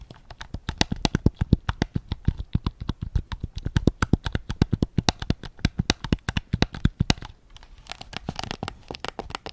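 Fingertips tap rapidly on the grip and back shell of a white PS5 controller, its hollow plastic giving about fifty short, dry, hollow knocks with a low body and a bright click on top. The taps run steadily for about seven seconds, pause briefly, then resume as quieter, quicker, brighter taps.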